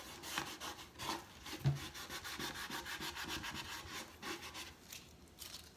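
A large hollow wooden crate box stand has its side slats and lower boards rubbed and sanded with a folded cloth or sandpaper held in the fingers, while the other hand braces the top. About nine scratchy, bright rubbing strokes sweep back and forth, each with a soft hollow resonance from the crate, and one sharper low knock sounds partway through.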